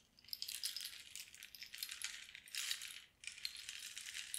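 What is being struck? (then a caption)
Cactus wood rain stick with pebble filling. A long, hollow cactus-wood rain stick is tilted back and forth with both hands, so its pebble filling trickles and rattles inside. The sound is a bright, high, continuous patter that swells and fades in waves, with a brief near-silent pause about three seconds in before the trickling resumes.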